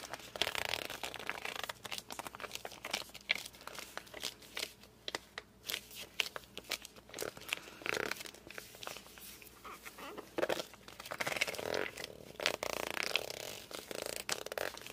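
Hands grip and rub the glossy surface of a hardcover book, first the front cover and then the back. Dense bursts of bright, squeaky friction and crinkly scratching rise and fall, with quiet gaps between strokes. There is almost no low end and no ring after each stroke.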